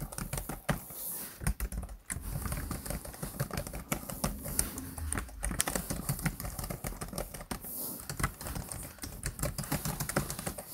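Fingertips type and tap quickly on the black plastic chiclet keys of a laptop keyboard. A dense, steady run of short, soft clicks and dull thuds, mostly low in tone with a faint bright tick, each dying away almost instantly.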